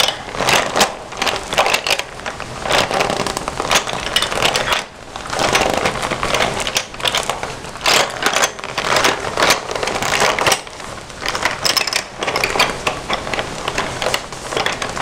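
Fingertips and nails scratch and tap across the printed surface of a red glossy vinyl Hello Kitty pencil case, held closed and full of pencils. A steady stream of dry, crackly scratches and quick taps comes in bursts, bright and thin with almost no low end. Each sound stops short with no ring.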